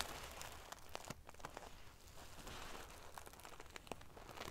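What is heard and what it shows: Fingernails scratch and ruffle the metal pieces of a silver sequin-covered pillow made of metal paillettes. A steady, dense crinkling and rustling runs throughout, with sharp bright clicks popping out over a low rumble.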